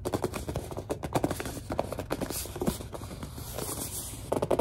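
A large white plastic Suave lotion bottle is squeezed and gripped while long dark nails tap on it. A rapid, irregular series of short squeaky, crinkly plastic taps and scrapes follows, with a mid-range tone and almost no ring after each sound, ending in a quick cluster of louder taps.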